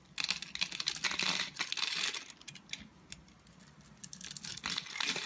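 A utility knife blade carves and shaves a scored grid pattern into the surface of an oval, solid bar of soap with a pink, purple and green checkered surface, held in the palm. Rapid, irregular crisp scraping and crackling dominate, bright and papery, swelling in dense bursts and easing to softer scratches in the middle before building again.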